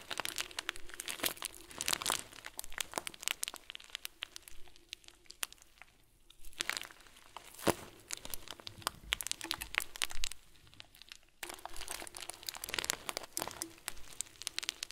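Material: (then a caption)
Plastic, foam. A clear plastic bag full of tiny white foam beads is held in one hand and squeezed and crinkled with the thumb and fingers. Dense, bright crinkling and crunching rustles come in bursts, with a few quieter gaps between the handlings.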